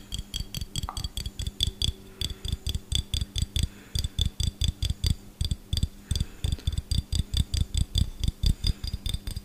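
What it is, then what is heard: Empty glass jar with metal lid. A small, empty, hollow clear glass jar with a gold metal screw lid is held close and tapped quickly with fingertips and short nails on both the glass body and the lid. About forty short taps come in an uneven, rapid rhythm, each a dull low thud topped with bright, clicky ticks that die away almost instantly.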